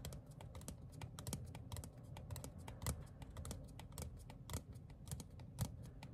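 A small, thin printed paper or cardstock ticket card is held upright and tapped rapidly with fingertips and short nails. It makes a quick, steady stream of soft, dry clicks with bright tops over a low, dull thump, and each tap dies away almost instantly.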